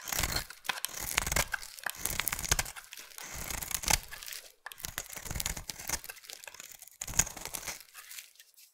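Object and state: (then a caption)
Bar of soap being carved. A solid light blue bar of soap held in the hand is scraped into curls with a utility knife blade. Repeated bright, crisp scraping and shaving strokes tear through the soap, with short pauses between passes.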